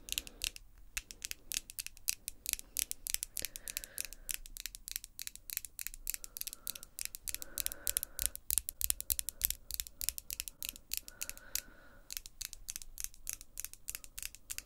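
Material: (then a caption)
Acrylic. Long glossy pink acrylic nails tap and click against each other, nail tip on nail tip. A dense, steady stream of very short, sharp, bright clicks runs for about fifteen seconds, with only a faint low murmur beneath.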